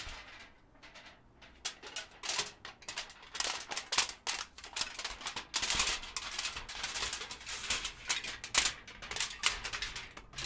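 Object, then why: Thin aluminium foil sheet. A thin, loosely folded, hand-sized sheet of aluminum foil is held in both hands in front of a microphone while fingertips crinkle, fold and rub it. Dense, bright crackling bursts come in quick irregular clusters, mostly high-pitched with almost no low end. Each crackle dies away almost instantly.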